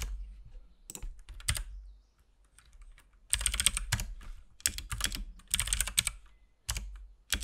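Fingertips type steadily on a compact RGB-backlit mechanical keyboard with plastic keycaps and a hollow case. Bursts of bright, sharp clacks come in clusters with short pauses, each key press dying away almost at once over a low thump from the hollow case.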